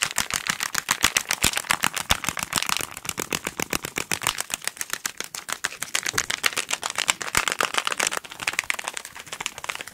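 A small, hollow pink cardboard package with a barcode is tapped and scratched very rapidly with fingertips and nails. The sound is a dense, fast stream of short, dry, bright clicks and scratches with almost no low end, each tap dying away instantly.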